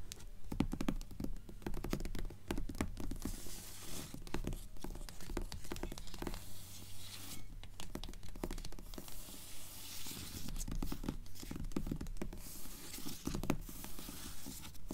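Long acrylic nails tap and scratch across the glossy cover of a solid purple paperback book lying flat on a table. The clip is a steady, irregular stream of short, dry clicks mixed with scratchy strokes and brief bright hissing swipes, over a low, muffled body.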